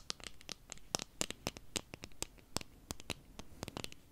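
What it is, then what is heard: Plastic eyeglass frames. Long nails scratch and tap along the frame and arms of a small pair of dark plastic-framed eyeglasses with lenses held in the hands. It makes a quick, irregular run of sharp, dry clicks and scratches that are bright and high-pitched, with no ringing, over a faint soft hiss.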